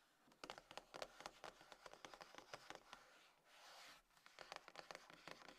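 Long nails tap and scratch the top and front edge of a closed, hollow, dark grey cardboard iPhone box resting on a table. Quiet, crisp, bright clicks come in quick uneven bursts, broken in the middle by a short, smooth scratching rasp. The taps then resume.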